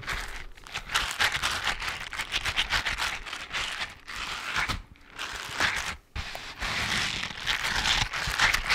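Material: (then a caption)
Rubber. Fingertips rub and scratch along the textured surface of a soft, flexible grey rubber or silicone dishwashing glove worn on the other hand, close to the microphone. The result is a dense, irregular crinkling and scratching texture that is bright and concentrated around 2 kHz, with little low end. The strokes briefly drop away near 4.8 and 6 seconds before resuming.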